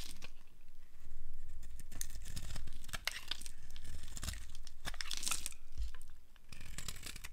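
A solid yellow dry soap bar, held in the hand, is shaved with a flat blade into long thin curls. The result is a continuous dry scraping and crackling with bright crisp tearing flicks over a low rumble, and the level swells and dips as each stroke is drawn.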